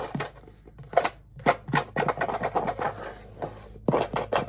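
The back of a small, hollow wooden ukulele, held on a lap, is tapped and scratched with fingertips and nails. It gives quick, dry, hollow knocks with a midrange tone and almost no ring, mixed with brief scratchy rasps in an irregular rhythm.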